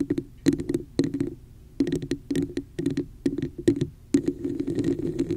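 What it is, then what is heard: Plastic cup tapped and scratched. Long nails tap and scratch the sides and top of a hollow red textured plastic cup held over the microphone. Quick clusters of hollow, muffled taps carry a resonant tone around 280 Hz, with faint bright clicks on top. Toward the end the taps run into a continuous scratching rasp.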